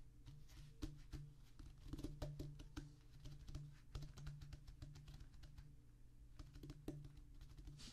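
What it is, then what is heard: Rubber drum practice pad. Both hands drum rapidly with the fingertips on a flat, solid drum practice pad with a black rubber top on a tan cork-like base. The taps are soft, dull and low-pitched, with a muted thud centered low, very little brightness and a quick decay. They run in a steady, dense patter with occasional louder accents.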